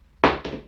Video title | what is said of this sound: ❌Never Use a Wooden Floor in Your Home! - Wood Floor is Damaged and Rotten!🔳 | When the floor is damaged or rotten, the sound is a little bit damp and it's a little bit hollow